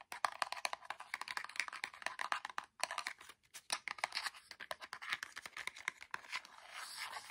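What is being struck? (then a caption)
Small printed cardboard box with plastic window. A small orange printed cardboard box with a clear plastic window, holding micro LED string lights, is held in the hands and rapidly tapped and scratched with fingertips and nails. The sound is a dense stream of quick, dry, papery clicks and scratches, bright and without low end, with brief gaps near 2.8 and 3.4 seconds. It ends in a steadier, hissy scratching.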